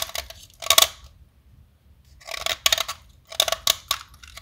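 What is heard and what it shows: A small solid white blackboard chalk stick is held upright over a container and shaved with a metal blade, white powder falling as it is carved. Bright, dry scraping strokes come in three clusters, separated by a near-silent pause in the middle, with very little low end.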